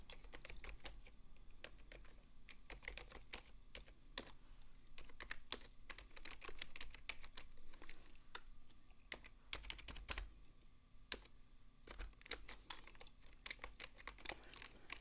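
Fingertips with long painted nails type continuously on a full-size beige plastic desktop keyboard with hollow key switches. The result is a steady stream of quick, bright, clicky keystrokes with very short decay over a low, constant background hum.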